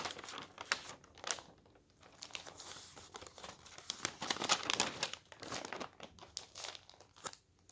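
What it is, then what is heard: Newspaper pages being handled. Both hands lift, roll and flip thin paper newspaper pages, making the paper crinkle. Irregular bursts of bright, dry crackling and rustling rise and fall over a soft background, with short quiet gaps between the louder crinkles.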